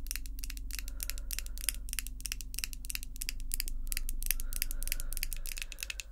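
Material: Acrylic.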